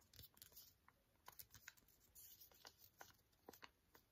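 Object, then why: Small sealed foil sachet. A small, flat, sealed green foil-and-plastic antiseptic wipe sachet is held in both hands and tapped and scratched with painted fingernails. The result is a quiet run of crisp, bright clicks and light crinkly scratching, each tap short and dry with almost no ring.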